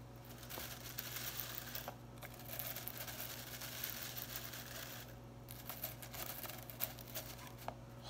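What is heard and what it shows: Long pink acrylic nails run through and scratch blue synthetic plastic broom bristles lying on a knit cloth. The result is a dry, crinkly, bright scratching and rustling with small sharp clicks, over a steady low hum.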